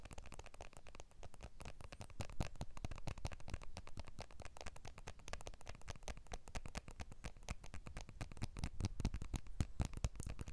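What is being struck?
Smartphone with glass back and aluminium frame.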